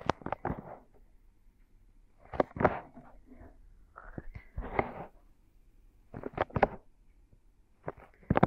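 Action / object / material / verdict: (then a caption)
scrape / silicone binaural microphone ears / silicone / none. Both hands cover and rub the soft silicone ears of a binaural microphone in a slow palm massage. Soft, muffled friction swells come in short clusters, separated by near-silent gaps.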